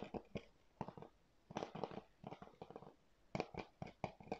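Fingertips and nails tap and scratch the surface of a hollow, hard blue plastic PS4 game keep case held in both hands close to the mic. Quiet clusters of short, dry, hollow clicks mix with brief scratchy bursts that stop almost instantly, with soft pauses between groups.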